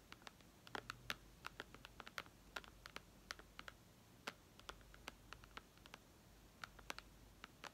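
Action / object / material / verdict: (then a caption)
tap / glass tablet touchscreen tapped with fingernails / glass / none. Long red nails on both hands tap rapidly on the glass screen of a white iPad lying flat, in a typing-like rhythm. Dozens of sharp, dry, bright clicks come in quick irregular bursts over a faint low hum, each tap ending almost instantly.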